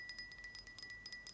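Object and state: Glass jar lid ringing clearly when unmuffled.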